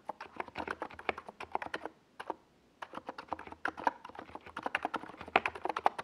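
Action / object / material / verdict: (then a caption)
tap / plastic mechanical keyboard / plastic / none. A compact 68-key NiZ Plum Atom 68 mechanical keyboard with a hollow white plastic case and purple and yellow plastic Domikey Gas Attack SA keycaps sits on a desk pad while both hands type on the keys with their fingertips. Quick, dry, mid-pitched plastic clacks patter in an uneven stream and stop briefly around two seconds in. The typing then resumes with a few sharper, louder strokes toward the end.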